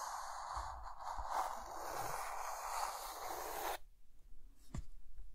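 A hand draws a guitar with a white chalk stick on a dark green chalkboard, making steady, gritty scratching strokes centered around 770 Hz with bright hiss. The scraping stops abruptly at about 3.8 seconds, leaving quiet background noise broken by one soft low tap near the end.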